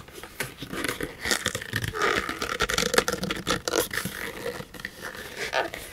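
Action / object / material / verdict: scrape / textured paper pouch / paper / none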